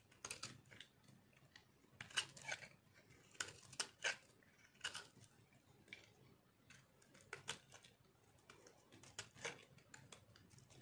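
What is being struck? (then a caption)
Bar of soap cut and scraped with a metal blade. A metal blade cuts and scrapes the edge of a hand-held, solid rectangular bar of dry multicolor soap with green and purple marbling. Crisp, bright crunching and scraping bursts come in irregular clusters over a quiet background, each dying away almost instantly.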